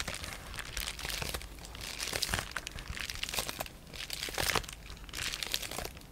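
Fingertips and short nails rub, scratch and crinkle the surface of a sheet of clear polyethylene bubble wrap with air-filled bubbles. The result is a steady, bright crinkling and scratching with a little low rumble underneath, broken by sharper crackling bursts that swell and fade throughout.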